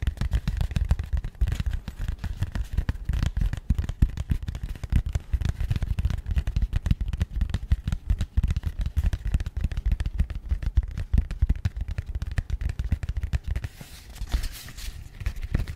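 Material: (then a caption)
Cardboard. Long fingernails tap rapidly and continuously on a small, rigid, matte grey cardboard box held close to the mic. The taps are dull, deep thumps with almost no ring. Near the end, a brief brighter rustle cuts through.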